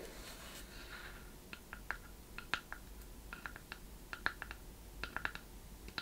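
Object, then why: Small hollow wooden box. Long red-painted nails tap and scratch the wooden sides and lid of a small, closed, chest-shaped wooden box with a metal clasp and corner fittings, held in both hands. A soft, bright scratching in the first second or so gives way to quiet, sharp, dry clicks that land at an uneven pace and die away almost instantly.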